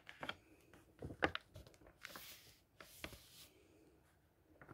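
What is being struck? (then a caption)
Paper pages of a hardcover book. A palm strokes the printed paper page of a thick hardcover book, then fingers grab and flip pages over. The result is quiet, close paper sounds: soft brushing swishes, dry crinkles, and crisp flicks as each page turns, with bright, hissy rustles between the flips.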